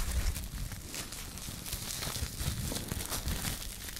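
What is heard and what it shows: A small loose ball of thin clear plastic cling film is crumpled, squeezed and rubbed between the fingertips and long nails. It gives a steady, dense crinkling with bright high crackle over low, soft handling rumble.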